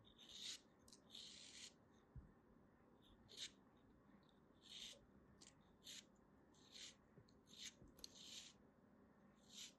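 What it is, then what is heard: Kinetic sand being sliced. A small, solid beige piece of kinetic sand is held between the fingers and sliced into bits with a small black knife. About twelve short, bright, crisp rasping cuts sound in separate bursts against quiet background hiss, each fading almost instantly.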